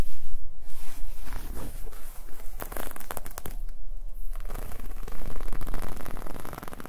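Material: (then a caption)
Knit fabric. A black-and-white striped ribbed knit garment of soft, thin fabric is held and handled with fingertips and long nails, scratched and rubbed. Dense, crackly scratching and crinkling textures come in uneven bursts, with brief sharp scrapes and a quieter stretch of rubbing in the middle.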